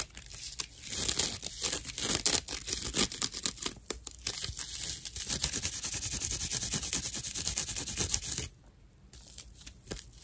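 Long nails roughly scratch a thick slice of dried natural loofah sponge fiber with hollow chambers, making a dense, bright, crackling rasp of rapid scraping strokes. The scratching runs loud and steady for about eight seconds, then drops to quieter, sparser scrapes until the end.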